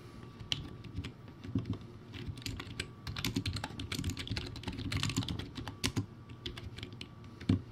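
Both hands type with their fingertips on a low-quality backlit plastic typewriter-style keyboard with round white plastic keycaps. Quick, irregular clacks of bright plastic sit over a hollow, low thump from the board. The typing runs steadily throughout, with a few sharper, louder strikes, including one near the end.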